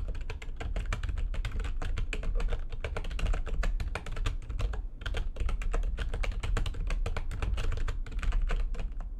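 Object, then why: Plastic computer keyboard keys. Fingertips with long nails type fast on the keys of a full-size, low-profile, backlit plastic computer keyboard resting on a desk. A dense, continuous stream of short, crisp clicks and taps runs throughout, with each strike dying away almost instantly. A steady low rumble sits underneath.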